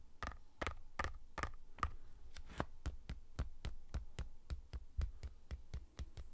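A tall, hollow Pringles Sizzlin' can, made of a cardboard tube with a metal base and plastic lid, is held in the hands and tapped along its side with fingertips and nails. About 21 short, dull taps land in a steady rhythm, each a low hollow thud that dies away almost instantly. The first several taps have a brighter clicky edge.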